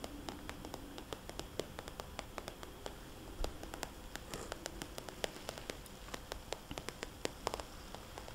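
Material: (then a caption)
Plastic. Long dark-painted nails tap and scratch a small, hollow, soft-sided red polka-dot glossy plastic zip cosmetics bag, with its contents not visible, while it is held up and resting on a table. A quick, irregular run of sharp, bright clicks cuts through a steady low hiss, with soft crinkly scratching between them.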